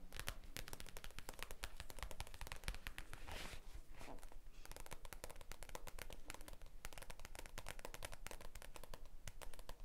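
A thick stack of white printed A4 paper sheets is held in both hands close to the microphone while fingertips rub and flex the edges. Dense, sharp crinkles and crackles run continuously at an uneven pace over a steady low rumble. A softer, smoother rustling swish rises briefly near the middle.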